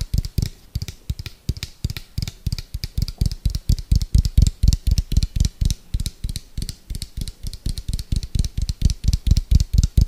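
Fingertips and nails tap quickly on the side of an orange, hollow, round plastic food container with a white lid. The result is a fast, uneven stream of short, hollow low thumps with almost no ring, each topped by a faint bright click from the nails.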